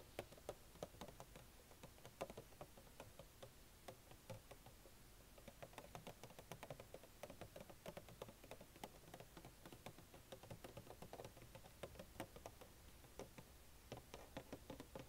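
A small, hollow Funko Pop collectible box made of printed cardboard, with a clear plastic window and the toy inside, is held in the hand and tapped and scratched with long nails. It gives a quiet, continuous run of quick, dry taps and clicks with a hollow knock around 540 Hz, short bright ticks, and soft scratching between them. Each tap dies away almost at once.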